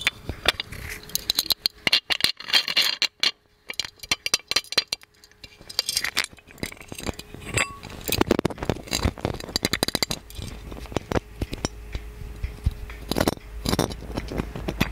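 A gold-plated metal magic lamp is held in both hands while fingernails scratch and tap its lid and body. Dense bursts of bright scraping alternate with quick, clicky metallic taps that die away almost instantly. A faint steady tone hums underneath throughout.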